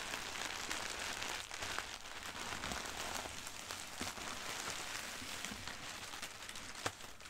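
Long dark-red nails and fingertips scratch, press and crinkle a large crumpled sheet of thin white tissue packing paper printed with black doodles, lying on carpet. A steady, dense, bright crackling rustle continues throughout, with one sharper crinkle standing out near the end.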